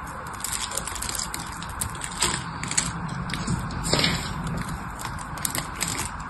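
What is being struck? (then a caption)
Bar of soap. A blade carves into the corner of a solid teal-green bar of soap held in both hands, and the carved flakes are broken off. The result is a steady, irregular crackling and crunching scrape with bright, dry snaps scattered throughout and a few louder crisp breaks.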